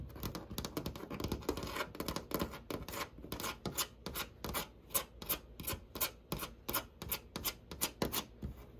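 Fingernails scratch quickly across a white embossed wood-grain panel door, likely hollow molded fiberboard. The result is a dense run of dry, broadband scratching strokes that settle into a steadier, more evenly spaced rhythm in the second half, each stroke short with almost no ring.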